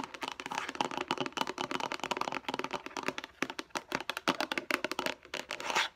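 Long acrylic nails tap rapidly on the lid and sides of a hand-sized, hollow, light blue plastic food storage box that looks empty. The result is a dense run of quick, dry, bright clicks with a hollow plastic tone and almost no ring after each hit.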